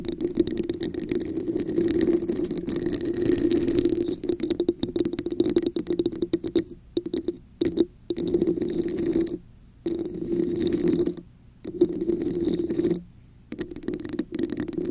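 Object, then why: Textured plastic cup held over a microphone. Long nails tap the top and scratch the textured sides of a hollow red plastic cup placed over a microphone. The result is a dense, rapid stream of scratchy taps with a hollow, resonant hum around 350 Hz and a bright, airy texture. The sound breaks off into a few short silent pauses along the way.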